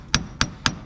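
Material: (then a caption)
Metal. Three sharp taps drive a metal front axle seal into its housing bore on a Ford F350. Each tap is a short, solid knock with a bright high edge and almost no ring, showing the seal is fully seated and bottomed out against its seat.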